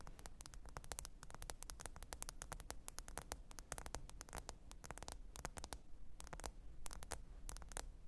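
Long pointed nails tap and scratch the glass screen of a small, thin, solid black smartphone lying flat, screen up, on faux fur. A rapid, dense stream of sharp, bright clicks rides over a steady low hum and soft scratchy noise, with a few brief pauses between clusters.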